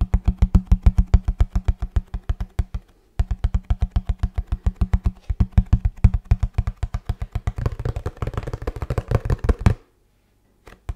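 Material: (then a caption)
Cardboard. Fingertips tap rapidly on the surface of a hollow kraft cardboard box held vertically, making a steady stream of dull, low, boomy thuds. The tapping pauses briefly just before the 3-second mark, then resumes and builds into a faster, denser flurry with a brighter, scratchy edge. It stops abruptly near 10 seconds, followed by a couple of faint final taps.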